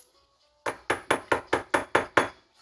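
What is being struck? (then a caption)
Stainless steel drink dispenser spigot. A heavy, food-grade stainless steel (not plastic) drink dispenser spigot is tapped eight times in an even rhythm. Each tap gives a bright, short metallic clink with a brief ring.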